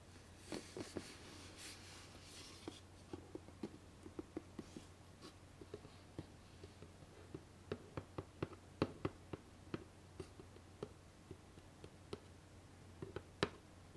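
Long painted nails tap and scratch the top of the closed lid of a medium, hollow, white rigid cardboard gift box with a satin ribbon bow. Soft, bright scratching in the first few seconds gives way to about 19 crisp, dry taps with a hollow knock and almost no ring, over a steady low hum.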